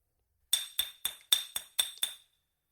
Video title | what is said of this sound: Facts and Fiction of the Schumann Resonance | The resonant frequency of the glass bottle itself is about 3520 hertz, which is an A on the musical scale.